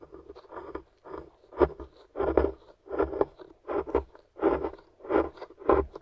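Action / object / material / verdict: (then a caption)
scrape / plaster block scraped with a wooden stick / plaster / none. A pointed wooden stick digs and scratches into a solid gray plaster dig block held in the hand, breaking off flaky chunks. Short, gritty scraping bursts repeat in an uneven rhythm, with a dry midrange crunch centered around 400 Hz and no lingering ring.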